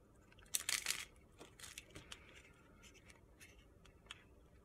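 A steel utility-knife blade scrapes and shaves curls off the surface of a hand-sized, solid rectangular bar of pale pink soap held in the hand. A loud burst of bright, crunchy, gritty shaving comes first, followed by quieter scrapes and short crisp ticks.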